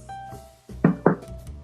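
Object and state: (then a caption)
Baked-through soda bread, hollow knock. A loaf of Guinness soda bread is knocked twice on its bottom, giving two short, dull, hollow thuds with a low body and almost no ring over a faint steady background tone. The hollow sound shows the bread is baked through and done, having also passed the knife test, and it goes onto a resting tray.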